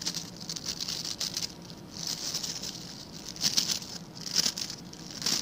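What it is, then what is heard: Plastic bristle scrub brush. Fingertips and nails scratch and flick across the stiff white-and-blue plastic bristles of a hand-sized blue scrub brush held in one hand. The result is a bright, dry, crackling patter in irregular bursts, with a few sharper, louder flicks standing out near the end.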